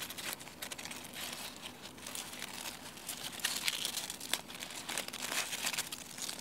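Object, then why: Chestnut leaves. Fingers with long painted nails crush and rub a dry brown chestnut leaf on a branch. The result is a continuous, dry, bright crackling and crinkling with sharp crisp snaps and almost no low end.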